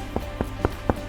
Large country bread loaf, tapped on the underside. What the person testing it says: Il faut entendre le son creux. Quand c'est creux, ça veut dire que c'est cuit.